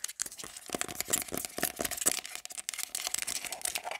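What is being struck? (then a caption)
Small plastic hair product jar. Long black glitter nails rapidly tap and scratch a small round black plastic got2b hair product jar, working over its lid and ridged sides. The result is a dense run of bright, crisp clicks and dry, scratchy rasps with almost no low end, each tap dying away instantly.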